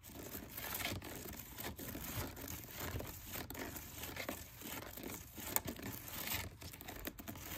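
Fingernails scratch and tap the outer side of a dark brown plastic storage basket with a woven-look pattern that holds towels and other items. The result is a steady, dry, crinkly scratching texture across a wide frequency range, broken by brief, soft ticks with almost no ring.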